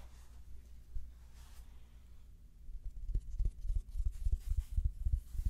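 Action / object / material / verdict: scrape / fabric-covered foam neck pillow / fabric / none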